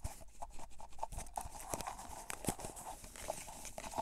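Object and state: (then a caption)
Plastic cotton swab container. A cylindrical clear plastic tub with a printed label, full of cotton swabs, is turned and tapped with fingertips and nails. Quick, dull, close taps and sharper nail clicks come in a steady irregular run, with the swabs shifting and rustling softly inside. Each tap dies away almost at once.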